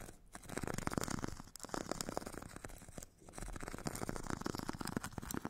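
A metal stick tip scratches the purple abrasive grit layer of a solid, hand-held foam foot file with a white foam core. It makes a dense, rapid, dry rasping that spreads across low and bright tones, with brief pauses near 1.5 and 3 seconds.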